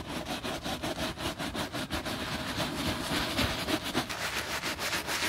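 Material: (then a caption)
Leather. A bristle brush scrubs foam across the side panel of a black quilted, grained leather handbag. The result is a steady run of quick, rhythmic, hissy scrubbing strokes with a bright, wet, foamy texture. Each stroke fades quickly, and the level holds fairly even throughout.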